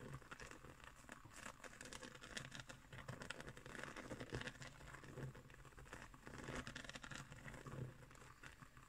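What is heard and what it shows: Fingernails scratch and tap across the woven coils of a round, coiled straw placemat. The result is a quiet, continuous run of dry, crinkly scratching with soft taps and brighter rasping textures over a faint low hum.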